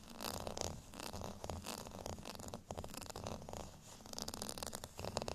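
Long fingernails scratch across the bumpy face of a beige, ridged plastic rice paddle held by its handle. The result is a continuous, raspy, zipper-like scratching that comes in repeated strokes, with bright, crackly texture over a low rumble.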